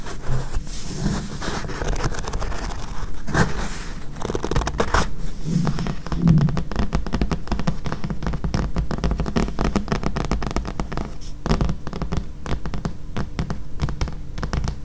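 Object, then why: Paperback book with glossy card cover. Long nails tap and scratch the glossy card cover of a thick paperback book. A dense, steady run of quick, dry taps and scratchy strokes is heard, each dying away almost at once, with most of the energy low and dull and little brightness on top.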